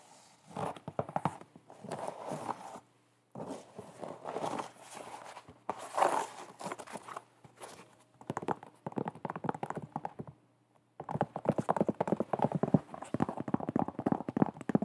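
An empty white leather New Balance low-top sneaker with a rubber sole is held in the hands while long nails tap and scratch its leather upper. Bursts of quick, dry, close-up tapping and scratching are separated by brief pauses. The sound is soft and muted, with a faint low hum underneath.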